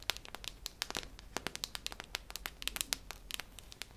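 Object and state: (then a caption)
Metal tin canister tapped with fingernails. A hollow, cylindrical silver metal tin with a red plastic lid is held near the ear and tapped on its metal side with long nails. A quick, irregular run of sharp, bright clicks rings around 3.6 kHz, each dying away almost instantly over a faint low hiss.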